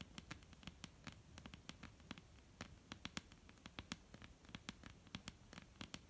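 Long almond-shaped painted nails tap rapidly and irregularly on a solid, flat, dark-brown wooden tabletop. Each tap is a sharp, bright, dry click that dies away instantly, over a quiet low hum.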